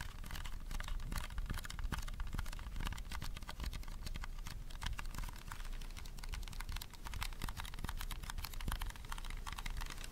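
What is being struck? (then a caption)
Small plastic handheld fan. A small purple hollow plastic mini handheld fan, held in both hands close to the mic, is tapped and scratched rapidly with fingernails. The result is a dense, steady stream of quick clicking taps and scratchy rustles over a low, hollow thump for the full ten seconds.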